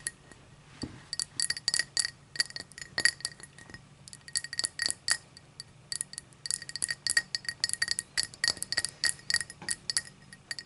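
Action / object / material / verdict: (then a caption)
tap / cut crystal tall drinking glass / crystal glass / none. Long matte dark nails tap and scratch the sides of an empty, hollow, clear cut-crystal tall drinking glass standing upright on a striped towel, using both hands. About 42 quick, bright clinks in uneven bursts carry a glassy tone near 1.9 kHz with a higher shimmer above, each dying away almost instantly over a faint scratchy hiss.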